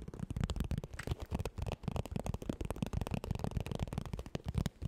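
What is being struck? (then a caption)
Padded quilted vinyl makeup bag. Long nails tap and scratch the puffy quilted surface of a medium iridescent holographic makeup bag made of padded plastic/vinyl, held in both hands. The sound is a fast, chaotic run of dense, low, soft thuds mixed with scratchy crackling, each hit dying away almost at once.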